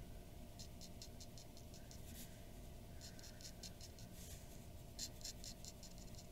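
A glass dip pen nib scratches quick, short strokes near the nose of a drawing on a white paper sheet resting on a wooden desk. A run of soft, bright, scratchy ticks plays over a low, steady background hum, with the strokes briefly louder near the end.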